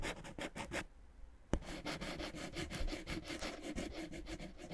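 A wooden stick rubs and scratches across clear, inflated plastic air-column cushion wrap, a hollow, air-filled packaging. Rhythmic, bright scratching strokes with a low hollow body are followed by a brief quiet gap and a sharp click. The scratching then resumes in a steady, dense run.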